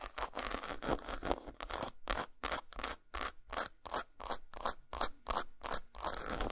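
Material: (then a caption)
Chocolate. Long nails scratch and tap on an unwrapped solid dark chocolate bar resting on a towel, and fingertips rub its surface. The result is a fast, somewhat uneven run of dry, bright scraping strokes and light taps, with short pauses between bursts.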